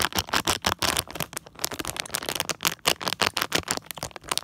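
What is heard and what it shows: Fingertips and nails scratch and tap the back of a small printed plastic foil mystery pack blind bag held close, making light, bright crinkles and rattles. About 22 quick, dry taps and scrapes come in an irregular run, each dying away almost instantly, with little low end and a bright peak near 2.8 kHz.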